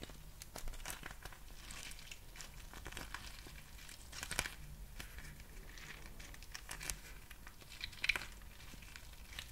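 A small, thin, flexible clear plastic packaging pouch with a textured surface is held up and crinkled and scratched with fingertips and nails. Quiet, irregular crinkling and bright scratchy ticks run throughout over a low steady hum, with a few sharper crackles standing out near 4.4 and 8.1 seconds.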